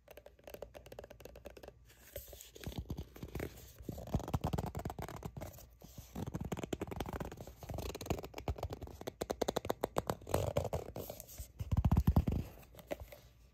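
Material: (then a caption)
Plastic. A squeezable, hollow plastic sunscreen tube with a paper-like printed label, apparently partly full, is gripped in both hands and tapped and scratched with long acrylic nails. Dense runs of quick, dull taps and scratchy crinkles sound low and muffled with almost no ring, swelling into louder bursts around four seconds and again near twelve seconds.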